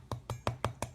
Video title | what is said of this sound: How to Make High Protein Chocolate Waffles - Healthy, Easy & Delicious Waffle Recipe | That's like knock knock, who's there? Crispiness and deliciousness.